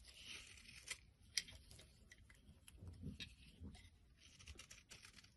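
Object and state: Soap bar being shaved.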